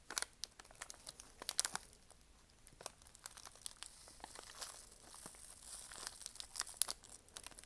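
A small sealed Nature Valley granola bar in a crinkly plastic foil wrapper is held in both hands and tapped, scratched and squeezed with long nails and fingertips. The result is quiet, bright crinkling and crackling with sharp little taps and clicks scattered throughout, with almost no low end.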